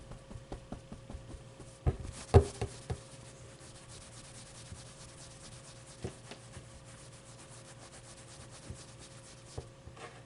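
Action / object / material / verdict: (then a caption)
scrape / stuffed plush fabric toy / plush fabric / none. Fingers and nails rub and scratch the plush fabric of a medium, soft stuffed avocado plushie with a fuzzy brown pit while the other hand holds it. The result is a quiet, soft scratching and rubbing over a low steady hum, with a brief cluster of louder muffled bumps near the two-second mark and lighter scratches scattered throughout.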